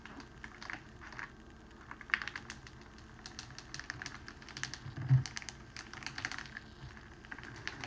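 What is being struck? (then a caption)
Clear cellophane wrapping sheet. Fingertips and palms press and roll a long, rolled sheet of clear cellophane wrapping resting on a table. It gives off a steady run of fast, dry crinkles and crackles with sharp, bright ticks. Two louder cracks stand out near the middle and toward the end.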